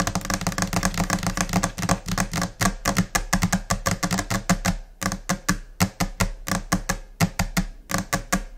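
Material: Laminate.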